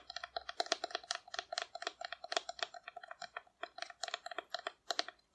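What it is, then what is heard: Painted cardboard dinosaur figure. A hollow painted cardboard dinosaur figure, held low, is tapped quickly with long nail tips for about five seconds. Each short, dry click carries a hollow midrange tone near 680 Hz with bright overtones and dies away almost at once.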